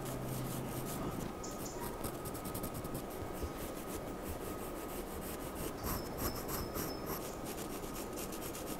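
The tip of a wooden charcoal pencil draws short scratching, stroking lines on a flat white sheet of drawing paper resting on a desk. The result is a steady, soft rasping scrape with a fairly even level throughout.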